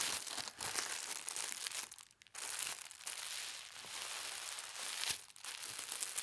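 A thin sheet of white tissue paper printed with gold stars is folded smaller on a table while fingertips with long red nails press and rub along the folds. Dense, bright crinkling and rustling runs throughout, broken by short quiet pauses near 2 seconds and again near 5.3 seconds.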